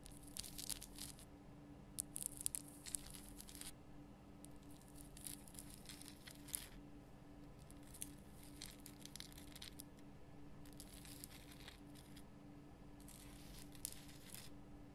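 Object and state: Himalayan rock salt lamp.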